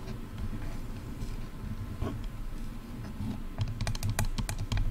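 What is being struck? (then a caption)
Plastic headphone earcups. Long nails tap the sides of hollow, silver plastic over-ear headphone earcups. A soft, low, rustling scratch is followed in the last second and a half by quick, bright, dry clicking taps that stop at once with no ring.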